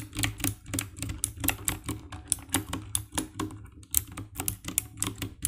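Fingertips and nails type on the keycaps of a compact 60% black plastic mechanical keyboard with RGB backlight, producing a steady run of short, bright clacking key presses. The clicks are dry, with no ring, over a faint constant low hum.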